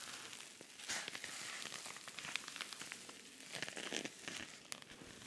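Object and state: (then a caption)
Rhinestone-covered pouch being scratched. Fingernails scratch across the rhinestone face of a silver rhinestone-covered cosmetic pouch with pink trim. The sound is a dense, bright, crackly scratching and clicking, made of many quick taps and rasps with almost no low end. The level swells briefly at a few stronger strokes.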